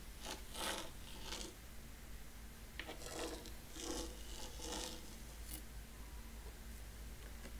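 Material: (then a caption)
Sand. A thin wooden rake stick is dragged by hand through fine white sand in a shallow rectangular wooden zen garden tray, scratching parallel lines. Soft, raspy scraping strokes come in short bright bursts over a steady low hum, then fade to quiet.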